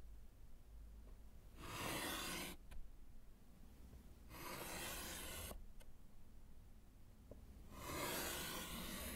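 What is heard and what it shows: A gloved hand draws diagonal lines with white chalk on a small, flat, solid slate chalkboard set in a wooden frame. Three separate scratchy, rubbing strokes sound as bright, broadband hiss, with faint low rumble and small clicks in the quiet gaps between them.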